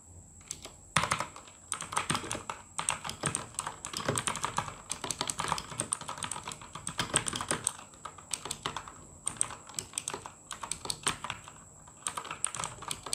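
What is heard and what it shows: Fingertips of both hands type steadily on the plastic keycaps of a full-size RGB mechanical gaming keyboard, producing dense bursts of bright clacky key strikes with short pauses between runs. A faint, steady high-pitched tone runs underneath throughout.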